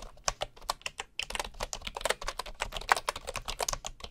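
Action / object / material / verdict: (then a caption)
tap / bamboo wooden computer keyboard / bamboo / none. Fingertips type quickly at the left edge of a bamboo wooden computer keyboard, with a bamboo mouse lying nearby untouched. A steady run of short, dry, clattering key clicks sounds bright, with little low end, and each click dies away almost instantly.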